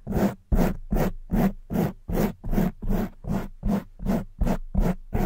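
Long white nails scratch the front and sides of a soft black foam windscreen on a silver condenser microphone. About 14 steady, rhythmic strokes are heard, each a close, muffled, rumbly scrape with a brief rough swell. The sound is heavy in the low end, with little bright content.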